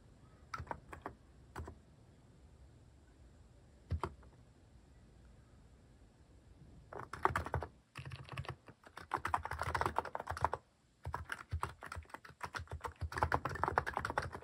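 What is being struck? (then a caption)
Mechanical keyboard with plastic keycaps. A mechanical keyboard with cat-shaped plastic keycaps is typed on with the fingertips. A few scattered keystrokes open the clip, then give way to dense bursts of fast typing. The clicks are short and dry, with a clacky midrange and a soft low thud.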